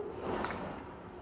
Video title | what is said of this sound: 금속이 찰흙처럼 붙을 수 있다고..? 교수님께 검증받아 봤습니다 | 단면을 힘을 줘서 떨어뜨리면 소리 들리시죠